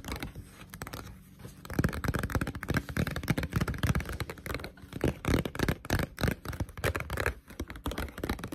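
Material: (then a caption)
Paper. Long pointed nails tap quickly on the glossy cover of a Blue Exorcist paperback manga, a solid paper book lying flat. The taps are dull, short and low-heavy, landing in a fast, uneven patter with a light scratchy texture. They start softer and grow louder after the first couple of seconds.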